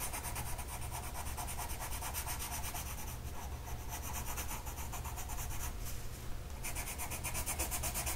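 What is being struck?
Paper sheet with colored pencil.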